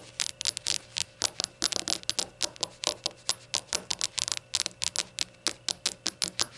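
Rainbow shot glasses are tapped in a quick, uneven run of about thirty short, bright clinks with a slight knock. Each hit is sharp and dies away almost instantly, with no low rumble underneath.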